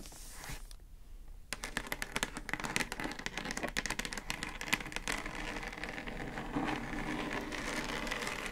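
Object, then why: Plastic speaker housing. Long acrylic nails tap and scratch the top of a hollow pink plastic Divoom Times Gate Bluetooth speaker housing with a round centre control. After a brief quiet pause, a fast run of sharp, bright clicking taps begins, then gives way to a steadier, hissy scraping across the plastic.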